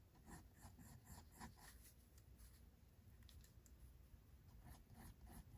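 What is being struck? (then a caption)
Pencil on paper sketchbook page. A pink mechanical pencil makes short hair strokes on white drawing paper in a spiral-bound sketchbook. Quick, soft scratching bursts come in clusters at the start and end, with a calmer stretch in the middle, over a quiet low rumble.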